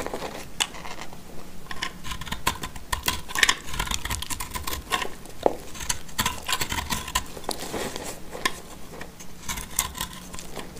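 A black utility knife blade scrapes and cuts into a solid white-blue piece of dry soap bar held in the hand. The result is a steady run of short, dry, bright crackles and crisp snaps with very little ring, over a faint low hum.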